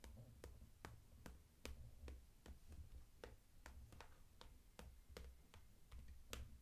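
Long acrylic nail tips tap the flat front panel of a closed, transparent daisy-print PVC cosmetic bag, full of makeup and held upright. The sound is a quiet run of short, dry, bright ticks that die away almost at once, over a steady low hum near 62 Hz.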